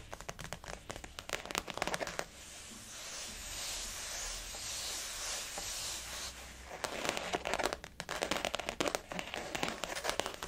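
Fingernails of both hands tap a blue floral-print glossy faux leather zip-around wallet resting on a table, making rapid, crisp clicking taps. In the middle the tapping gives way to a steady, bright hissing rustle before the quick fingernail clicks return.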